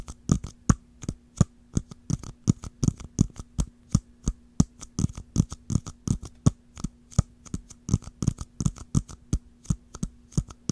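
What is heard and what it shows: Long nails rapidly tap and scratch the dome and ridged lid of a small, round, hollow clear plastic jar with a swirled blue-green pattern, held upright. Dozens of short, dry, muffled clicks come in an uneven rhythm, with faint scratchy high edges, over a steady low hum.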